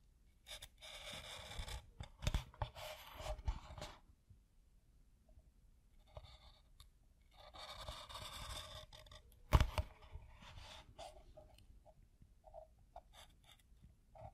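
A black felt-tip or marker pen drags lines along a piece of tan pebble-grain leather with a thick folded or rolled edge and a white stitch line, while fingertips hold the leather. Bursts of dry, bright scratching and scraping alternate with quiet pauses, with a sharper tap near the middle and small light ticks toward the end.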